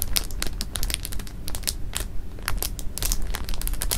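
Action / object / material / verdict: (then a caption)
scrape / clear plastic bag of jelly beans / plastic / none. Flat palms and fingers press and rub across a full clear plastic bag of jelly beans resting on fabric. The plastic crinkles in quick, irregular bright crackles over a steady low rumble, with the beans shifting softly underneath.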